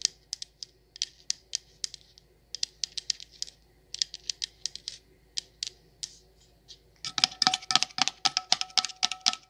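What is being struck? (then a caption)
Glass candle jar with perforated metal lid. Long nails tap the side of a patterned coconut sandalwood candle jar full of wax, making quick, bright clicks with uneven spacing. The tapping then moves to the perforated metal lid, becoming louder and denser with a ringing tone around 1.3 kHz.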